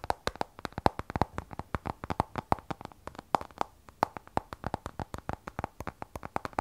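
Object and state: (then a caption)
Glass-backed smartphone tapped with fingernails. Fingertips and long nails rapidly tap the glass back of an iPhone 12 Pro, a glass and stainless steel smartphone held sideways. About 43 short, dry clicks follow one another in an uneven rhythm, each with a hollow tick near 840 Hz that dies away almost instantly.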